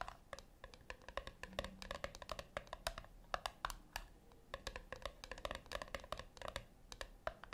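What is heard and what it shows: Long fingernails tap and scratch across the top lid of a flat, round brushed-metal tin that is likely hollow. Rapid, irregular clicky taps come in quick bursts over a light scratching texture. Each tap has a short metallic ping around 715 Hz that dies away almost at once.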